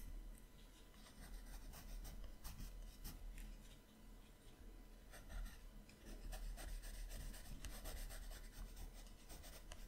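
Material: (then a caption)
Paper. A colored pencil rubs and shades strokes on the right page of an open paper sketchbook held flat. The result is a soft, continuous scratchy rasp with bright, papery grain over a low, quiet background hum, and the strokes swell and fade in loudness.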